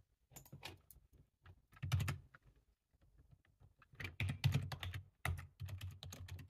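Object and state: Plastic computer keyboard.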